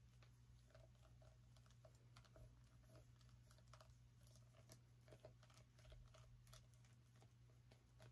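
Fingernails tap and scratch on a small orange pumpkin, making quiet, short, dry clicks and soft scraping. A steady low hum sits underneath throughout.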